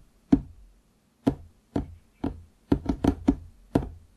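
Fingertips tap the wood near the front edge of a large solid wooden desktop, just below the microphone. Nine short, dry knocks are heard, each with a low woody tone around 270 Hz that dies away almost at once. The first few knocks are spaced apart, and the later ones come in a quicker cluster.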